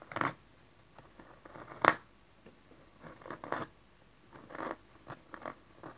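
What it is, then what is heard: Cardboard card box. Fingertips and long nails tap and scratch the cover and edges of a small, dark cardboard tarot card box lying flat. The result is a series of soft, dry, papery taps and brief scrapes, spaced irregularly, with a midrange body and bright, crisp edges that stop quickly without ringing.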